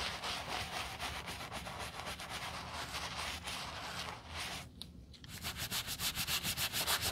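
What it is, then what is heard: Leather sneaker being brushed. A white leather sneaker, held in a gloved hand, has its side and heel scrubbed with a wooden bristle brush. Quick, fairly steady back-and-forth strokes make a bright, hissy scrubbing rasp over a low rumble. The strokes pause briefly near the five-second mark, then resume with sharper, more distinct pulses.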